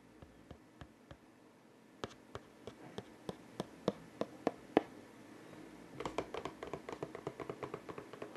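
Fingertips handle and tap the edges of a medium-size, hollow, open printed cardboard King of Tokyo board game box while its white inner lid is held above it, then lowered and closed onto the box. About 32 short, dry taps with a muted low-mid body are heard: a few sparse ones, then a steadier run that grows louder, then a quicker, denser cluster at the end.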